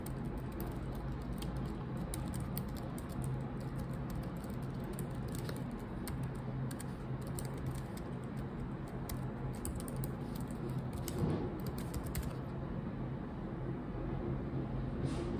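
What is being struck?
Laptop keyboard, plastic keycaps.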